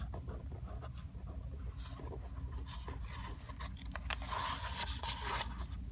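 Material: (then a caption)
Paper. Long acrylic nails trace, scratch and rub across the printed pages of an open paper book lying on a carpet, with some page turning. Soft, dry scratchy rasps and rustles come in irregular strokes over a steady low rumble, growing brighter and denser toward the end.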